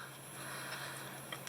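A cured, demolded ResinCrete (resin-alternative concrete) craft casting is tapped twice near the end of a quiet stretch of low hiss. The taps are short, bright clicks that die away almost instantly. Their hard, solid sound shows the piece has cured hard.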